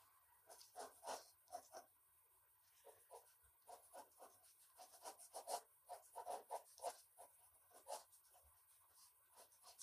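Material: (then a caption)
Paper. A red-orange colored pencil held in the fingertips scratches back and forth across a large, thin sheet of white drawing paper on a wooden desk, shading a figure's body. Quiet, dry scratching strokes come in uneven bursts, each a short rasp with a bright edge, separated by brief pauses.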